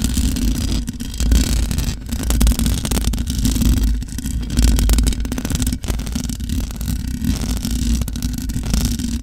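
Long nails scratch the top of the hollow metal mesh grille on a large black microphone. The result is a dense, continuous rasping scrape with a heavy low rumble underneath and a faint bright hiss, broken by brief dips in loudness.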